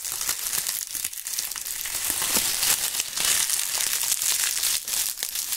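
Dry brown autumn leaves are crumpled and rubbed between the gloved fingers of both hands, their brittle pieces breaking apart. The result is a steady, dense crackling and crunching that is almost entirely high and bright, with little low end. Sharper crinkly bursts stand out irregularly throughout.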